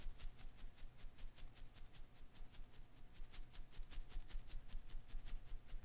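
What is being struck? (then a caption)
Rubber koosh ball. A hand holds a hand-sized blue and green koosh ball, made of many thin rubber filaments around a soft core, while the fingertips flick and pluck its rubber strands. Quiet, short, bright ticking snaps come in a loose, uneven rhythm of about two to three per second over a faint low rumble and a thin steady hum.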